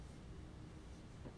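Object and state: Nothing is struck.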